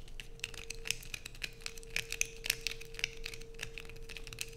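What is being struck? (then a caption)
Bar of soap. A solid blue bar of soap held in the hands is scratched aggressively with long nails. The result is a dense run of sharp, dry, crinkly scrapes and clicks, irregular and mostly high-pitched, over a faint steady hum.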